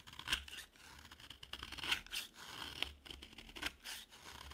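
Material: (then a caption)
Soap. A metal utility knife blade carves and scrapes a green solid dry bar of soap. The result is crisp, bright scratching and shaving sounds, with repeated short cuts that crackle sharply and die away fast.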